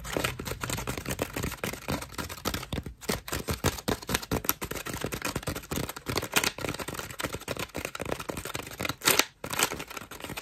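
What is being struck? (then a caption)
Foam bath loofah. A cream foam bath loofah is squeezed and scratched rapidly with long nails. This makes a dense, crackly, rustling texture of quick, bright scratchy bursts with short pauses near 3 and 9 seconds.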